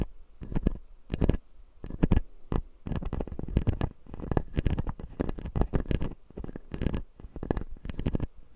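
A fingertip scratches and taps the white plastic teeth of a closed, solid, clear acrylic dental model. It makes quick, dry clicks and scratchy bursts with almost no ring, some in tight clusters and others in short rubbing runs. Most of the energy sits low and dull.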